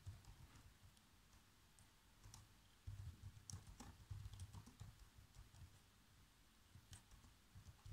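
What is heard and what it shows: Fingertips type on the black plastic keys of a laptop keyboard, producing quiet, irregular key taps and clicks over a low thumping undertone. From about the three-second mark the taps grow louder and denser, with short bright clicks standing out.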